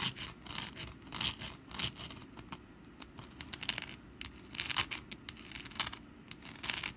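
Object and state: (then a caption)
Papier-mache pumpkin decoration. A rust-brown papier-mâché pumpkin decoration is held in both hands while long black nails scratch and tap its textured surface. Dry, bright scratching alternates with quick, crisp taps in short bursts, with a faint rustle in between.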